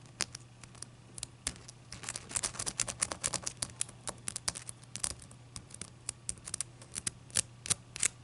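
Long dark-purple nails tap and scratch the faces and edges of a clear, solid ice cube held upright on a white towel. Quick, bright clicks and short scratches come in irregular bursts, densest near the middle, over a faint steady low hum.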